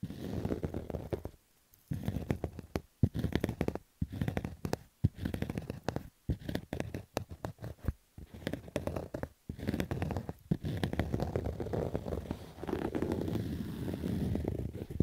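Fingertips and nails scratch fast and roughly across a black Adidas fabric baseball cap. The scratching comes in dense, muffled bursts weighted toward the low end, with little brightness, separated by brief silent pauses. The last few seconds run as one longer unbroken stretch.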